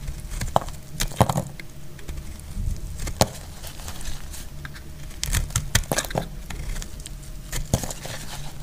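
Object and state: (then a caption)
Dry bar soap being cut. A solid, dry yellow bar of soap held in the hand is cut into long curls with a metal utility blade. Crisp, dry scraping and crackling shavings are punctuated by sharp, bright clicks as the blade bites, over a low rumble and a faint steady tone.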